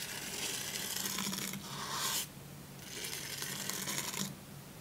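A hand rubs and brushes the bristles of a plastic toothbrush across the glossy printed paper page of an open hardcover children's book about dogs, lying flat on a pink blanket. Two long, bright, scratchy brushing passes are heard, the first brightening toward its end, separated by a short quieter gap, over a faint low hum.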